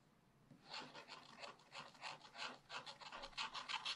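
A thin wooden stylus held in the fingers repeatedly scratches the black coating off a scratch-art paper page in a spiral-bound activity book lying flat on a table, around the body of the colourful panda picture showing through underneath. After about half a second of near silence, roughly a dozen short, dry, raspy strokes follow at a quick, uneven pace, bright and hissy with almost no low end.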